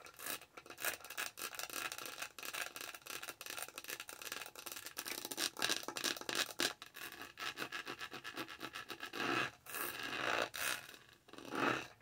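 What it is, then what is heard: Textured plastic tumbler lid. Long nails scratch and rub across the top of a lavender plastic tumbler lid with a dotted snowflake texture, the tumbler held close to the mic. The result is a dense run of bright, crackly scratching strokes with almost no low end. A few louder, smoother rubbing swells come near the end.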